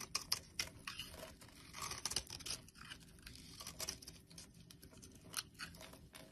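A solid blue bar of soap held in the palm is carved and scraped with a utility blade, its flakes falling onto a wooden surface. The blade makes quiet, dry, bright scratching and crisp flicking strokes in quick irregular bursts, with brief pauses between them.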